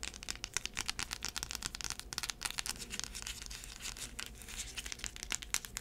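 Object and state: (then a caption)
Braided heeled sandal. Long acrylic nails scratch and tap the tan insole and braided straps of a black braided heeled sandal that is held up. The result is a dense run of quick, crisp, bright scratches and clicky taps with almost no ring, steady in level throughout.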